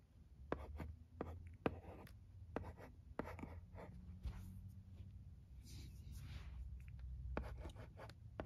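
A wooden pencil tip scratches and taps across the smooth screen of a thin, dark blue, flat plastic LCD writing tablet lying on carpet while writing. Quiet, soft scratching strokes are broken by sharp, clicky taps over a low, muffled rumble.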